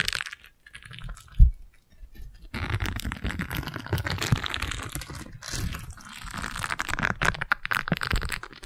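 A single round yellow silicone scrub pad is pressed around a microphone and scratched with long nails. It makes dense, close-up rubbing and scratching with low, muffled thumps, including one sharp bump early on, then continuous scraping that swells and fades.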